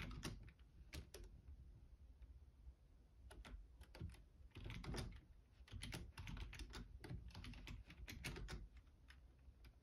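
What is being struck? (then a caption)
Plastic computer keyboard. Both hands type fast with their fingertips on a black plastic Logitech keyboard. Quick bursts of sharp, bright key clicks over a low, soft thud rise and fall, with brief lulls between flurries. Each keystroke dies away almost at once.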